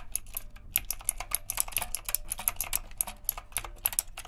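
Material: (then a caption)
Plastic. Steady two-handed fingertip typing on a retro typewriter-style mechanical keyboard with round plastic keycaps and a metal frame produces a rapid run of short, crisp clicks. The clicks carry bright, high ticks over a soft low hum, and each dies away almost instantly.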